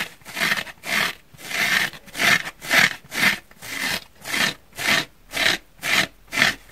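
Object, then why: Foam sponge. Fingertips with short painted nails scratch and squeeze the surface of a pink, rectangular, dry porous foam sponge, solid and not wet, held in both hands above a wooden table. The result is a rhythmic series of breathy, scratchy rasps, about two per second, each swelling and fading quickly. The sound is bright with almost no low end.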